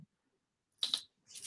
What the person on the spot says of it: kind of sounds like plastic yeah it's plastic